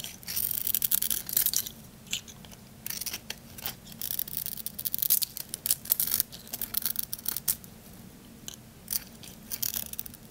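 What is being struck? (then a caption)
Bar soap with glitter coating. A solid white bar soap with a pink glitter strip, held in the hand, has its glitter scraped off and its edges shaved with a small blade. The result is a run of bright, crisp, crunchy scraping strokes with short pauses between them, set against a faint low hum.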